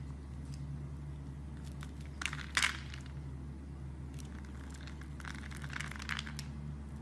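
A blade cuts cubes and shavings off a solid brown soap bar, making short, crisp crackling and scraping bursts. The strongest cuts come a little over two seconds in and again near the end, all over a steady low hum.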